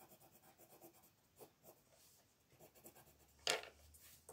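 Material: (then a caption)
Paper. A blue wooden colored pencil colors a small dinosaur's head on a paper coloring page lying flat on a wooden table, making short, soft, bright scratching strokes. Near the end comes a sharper, louder scrape, followed by a low hum underneath.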